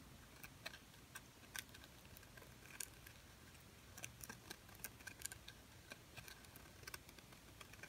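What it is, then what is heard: Glitter-coated plastic bird ornament. Long painted nails tap and scratch a small, silver glitter-coated plastic bird ornament held in the hand. Quiet, sharp, bright clicks and brief scratchy rasps come in irregular clusters over a soft low background hum, each tap dying away almost instantly.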